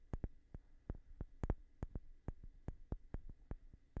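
A light-colored, palm-sized solid wooden block is held steady and tapped with fingertips and short nails. The result is a quiet series of short, dry, irregular knocks, each with a dull low thud and a crisp click on top, over a faint steady hum.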